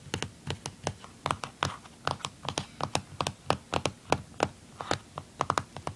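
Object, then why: Plastic handheld game console casing. Fingernails tap and scratch the back casing and label on the underside of a blue plastic handheld game console. About 28 short, dry clicks sound in an irregular, typing-like rhythm, each with a bright attack, a hollow tone near 790 Hz and almost no ring. Faint scratching fills the gaps between taps.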